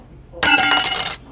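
A slightly thicker, 0.41-thickness metal business card, priced at 22 cents each, is dropped onto a desk. It makes a single bright, high-pitched clink that rings for just under a second before cutting off. The ring is distinctly metallic.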